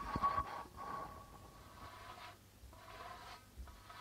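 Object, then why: Darbuka drum with plastic head. A flat palm and fingers rub across the white plastic membrane of a hollow, hand-held darbuka drum. The result is a quiet, continuous scraping hiss with a faint ringing tone around 1.1 kHz, strongest in a brief louder burst at the start before settling into a soft, steady rub.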